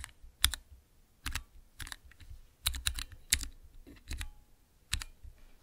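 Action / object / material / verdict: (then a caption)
tap / clear plastic mechanical keypad / plastic / none. Fingertips type on a small transparent plastic 9-key mechanical keypad with Cherry MX blue switches, resting on black cloth. Irregular bursts of sharp, bright clicks layered over a soft low thud land in quick clusters, each dying away almost instantly, with brief quiet gaps between them.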